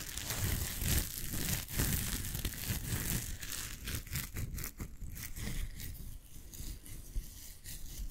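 A blue nylon mesh shower pouf is crumpled, stretched and scrunched between the fingers close to the mic. The result is a steady, dense crinkling and rustling with brief tearing-like bursts, bright airy texture over a heavy low rumble.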